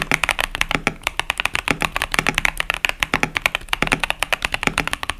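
Fingertips type continuously on a 65% KBD67 Lite mechanical keyboard with Boba U4T tactile switches and pastel plastic keycaps. About 39 quick, bright key clacks follow one another in a steady, uneven rhythm, each dying away almost instantly.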